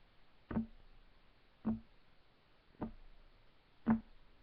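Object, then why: Wooden table top. Fingertips of both hands tap on a solid, flat, light wood desk top. Four separate dull knocks land about a second apart. Each has a low woody thud near 220 Hz and dies away almost at once.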